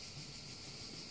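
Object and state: Nothing is struck.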